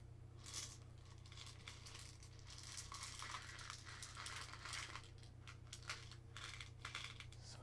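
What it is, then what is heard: Plastic cup of dried seeds shaken. A small clear plastic cup of dried seeds or kernels is held in the fingers, tilted and shaken so the contents rattle. Dense, bright, crackling patters of seeds against plastic come in uneven bursts over a steady low hum, with no pauses throughout.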